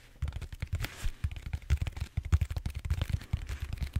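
Fingertips and short nails scratch and tap the bumpy surface of a large purple solid styrofoam foam roller held horizontally. A quick, uneven run of soft, dull taps and scratches follows, mostly deep and muffled with a faint brighter scratchy edge. Each tap dies away almost instantly.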